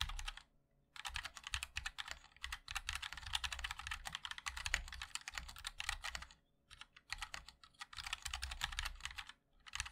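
A 60% MOD-L mechanical keyboard with a black aluminium case, white and black ABS keycaps and linear switches is typed on continuously with the fingertips of both hands. Dense, bright clacking taps arrive in bursts with short pauses between them. Each tap is crisp with a soft low thock underneath and almost no ring.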